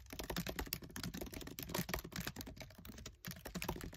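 Fingertips with short nails type fast on the black plastic keys of a MacBook Air keyboard set in an aluminium body. A dense, continuous stream of short, dry clicks and taps, each dying away almost at once, with soft low thumps beneath brighter key clatter.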